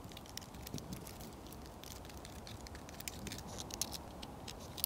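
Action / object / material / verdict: scrape / bark of a living pine trunk / tree bark / none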